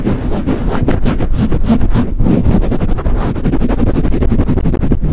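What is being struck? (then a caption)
Foam microphone windscreen. Fingertips rapidly swirl and squeeze a soft, hollow black foam windscreen on a microphone and pat it with a flat hand. The result is a loud, steady stream of deep, muffled thumps and rustling pulses, almost entirely low rumble with a dull pitch near 90 Hz and quick pumping bursts throughout.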